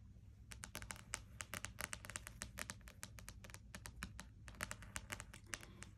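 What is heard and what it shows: A closed spiral-bound paperback wordsearch puzzle book with a card cover lies flat on a desk while its cover is tapped with long nails and fingertips. The taps come as a rapid, uneven run of short, sharp, bright clicks that die away almost instantly, over a faint steady low background hum.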